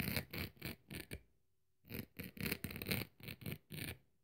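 The blade of a metal craft knife scrapes and scratches across the dry red abrasive scouring-pad side of a kitchen sponge held in hand. Short, gritty, bright scratching strokes come in quick bursts, pause for about half a second, then resume in another run of rough scrapes.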